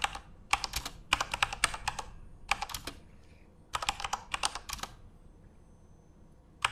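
Both hands type rapidly with their fingertips on a Corsair mechanical computer keyboard with plastic keycaps and RGB backlighting, resting on a desk. Bursts of sharp, bright plastic clacks come in quick flurries separated by short pauses, each keystroke cutting off almost instantly, with a final lone tap at the end.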